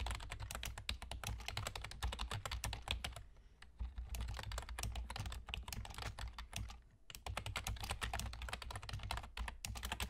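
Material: Plastic.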